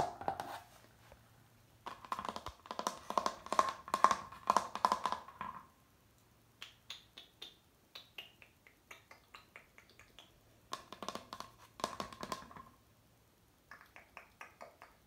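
A fingertip and nail tap across the glossy surface of a rectangular picture plaque of a sailing ship with a dark blue border, hung flat on a wall and apparently made of laminated hardboard. Quick bursts of rapid drumming taps carry a hollow, ringing tone around 1 kHz. Between them come sparser, sharp, bright nail clicks that die away almost at once.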